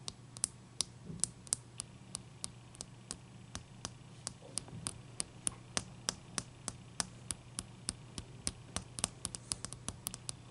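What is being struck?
Large ice cube.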